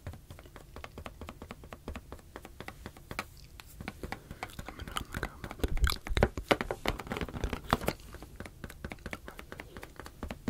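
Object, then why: Latex balloon. A medium teal latex balloon, hollow and air-filled, is held in one hand and tapped with the fingertips near the microphones. Rapid, irregular soft taps give dull, hollow thumps with a strong low body and almost no ring. The taps grow louder and busier in the middle before settling back to a quieter patter.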